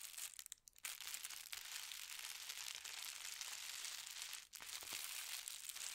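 Fingertips run along and smooth the fold of a folded white tissue paper sheet with a gold star print resting on a patterned blanket. The result is a soft, steady, bright crinkling and rustling with almost no low end. It pauses briefly near the start and again around the four-and-a-half-second mark.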